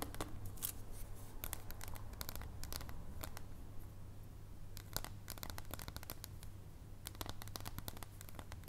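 A solid dark chocolate bar is held horizontally in the air while long painted nails tap along its edge. Quick, irregular, sharp clicks with bright tops come in rapid clusters, each dying away almost instantly. A steady low hum sits underneath throughout.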